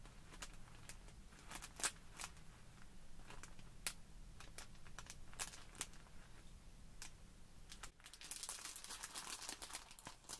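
Long pink nails and fingertips press, rub and scratch a small clear plastic bag full of tiny white polystyrene foam balls lying on a wooden table. The quiet, close crinkling is broken by sharp, bright clicks and crackles over a low rumble. Near the end it swells into a denser, hissing rustle.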